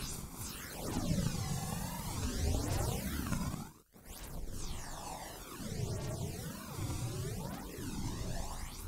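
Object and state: Nothing is struck.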